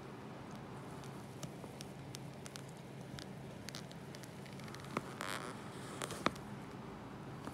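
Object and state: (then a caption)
Bar of soap being cut. A small knife with a yellow handle scores and slices thin shavings along the edge of a solid, palm-sized, unwrapped rectangular bar of white soap held on a white surface. Quiet, irregular soft crackles and light scraping sit over a steady low hiss, with a couple of sharper clicks and a brief bright scraping burst toward the end.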